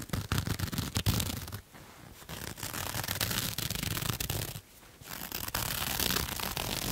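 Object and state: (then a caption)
Ribbed cotton knit fabric. Fingernails scratch and rub a pink ribbed cotton knit fabric with white stripes, like a cuff or sock, held in the other hand. Dense, bright rasping scratches run continuously with a low, rough rumble underneath, broken by two quieter pauses before the scratching resumes.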